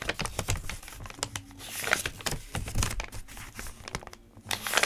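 Fingertips rub and flip the pages of a thick open paper notebook, producing dense crinkling and rustling with short papery ticks and soft swishes. The sound is close and dry, bright at the top with low brushing thumps underneath, and swells louder near the end.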